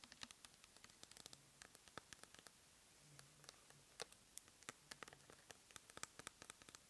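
Long nails rapidly tap and scratch a clear plastic pump bottle filled with cleansing gel. Dozens of quiet, sharp, bright clicks stop almost instantly, over a soft scratchy hiss. The taps come in quick, uneven bursts.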